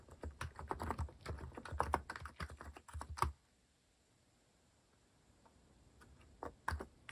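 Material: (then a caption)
Plastic. A compact white-case mechanical keyboard with cream and orange cat-themed plastic keycaps, sitting on a wooden desk, is typed on with the fingertips. Rapid, clacky key taps with a soft low thump run for about three seconds, fall into a near-silent pause, and then a few more taps close the clip.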